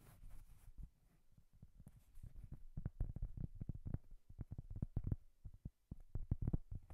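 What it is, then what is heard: Cork coaster. Long painted nails tap and scratch across the surface of a large, flat, round, solid cork coaster held upright near the microphone. Soft scratching opens the clip, then a run of dull, low, muffled taps follows, each one dying away almost at once. The taps come at an uneven pace with brief pauses between groups.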